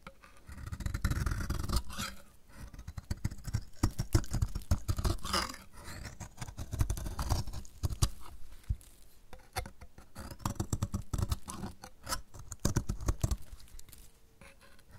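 A metal utility blade repeatedly scrapes curls off a solid, dry yellow bar of soap held in the hand. The clip is a steady run of dense, rough scraping strokes that swell and fade in waves. The sound is mostly low and heavy, with short dry crackles and almost no ring.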